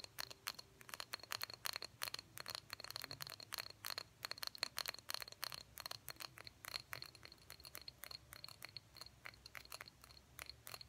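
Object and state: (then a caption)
Empty small glass jar. Long fingernails tap the sides and bottom of a small, empty, hollow cobalt blue glass jar with a cork lid. The result is a fast, irregular stream of sharp, bright clicks with a high glassy ring, set against a quiet background.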